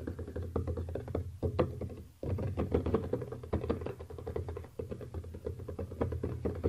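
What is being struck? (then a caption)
Small cardboard box. A small, hollow black "eGo-T" cardboard box lies flat on a table, and the fingertips of both hands tap rapidly across its top in a typing-like motion. The result is a dense stream of short, dry, hollow taps with a low thud and a mid-pitched knock. The taps pause briefly around the two-second mark and then continue.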